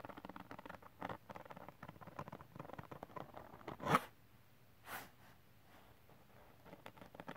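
Fingertips and nails scratch and rub the gritty surface of a flat silver holographic glitter cardstock sheet, making quiet, rapid, dry scratchy patter. A louder brushing swell comes near the middle, followed by a softer swish. After a near-silent pause, the fast scratching returns at the end.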